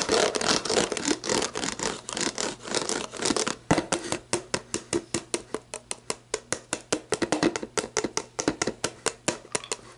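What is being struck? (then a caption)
Plastic drink bottle. Long black nails scratch and tap an upright, clear plastic sports drink bottle with a ribbed lower body and a label, hollow and mostly empty. Dense, bright scratching in the first few seconds gives way to a steady run of quick, crisp taps that stop dead with almost no ring.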